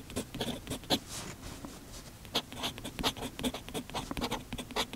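A steel fountain pen nib scratches across the page of an open paper notebook lying flat on a desk, half covered by a patterned fabric sheet, as someone writes continuously with steady strokes. The clip is a quiet run of short, bright, scratchy strokes with brief pauses between them, each dying away almost at once.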